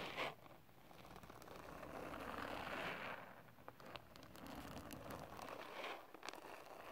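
A green silicone-bristled kitchen basting brush sweeps rapidly across a large, solid, flat sheet of holographic glitter paper or cardstock lying flat. The result is a continuous, quiet, crinkly scratching hiss that swells in the middle of the clip, with a few sharp bright ticks near the end.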